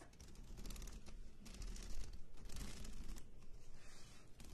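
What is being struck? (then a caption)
Spiral-bound paper notebook. Long acrylic nails tap rapidly on the cover of a medium-size spiral-bound paper notebook lying flat on a table, while the other hand holds a pen. The result is a dense run of fast, clicky taps with a bright crinkly edge over a steady low, muffled thump.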